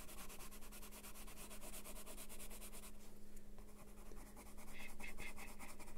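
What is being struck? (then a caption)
Colored pencil on paper. A colored pencil rubs back and forth across a flat paper coloring page of a house drawing, coloring it yellow. Quick, soft, scratchy strokes repeat in a loose rhythm over a steady low hum. They ease off briefly midway, then return louder and brighter toward the end.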